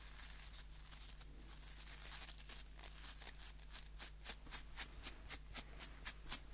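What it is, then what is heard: Wooden nail brush with plastic bristles. A small, solid wooden nail brush with white plastic bristles is held in both hands while fingertips flick and scratch along the bristle rows. It starts as a soft, continuous, bright scratchy rustle, then turns into a quick, fairly steady run of sharp, crisp bristle flicks. A faint, steady low hum sits underneath throughout.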